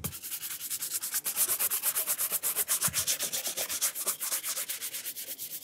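A horsehair brush is swept quickly back and forth over the upper of a burgundy leather cap-toe dress shoe with a rubber sole, held in the hand. It makes a bright, airy scratching in rapid, fairly steady strokes of about four per second, each with a short, dry swish and no ringing.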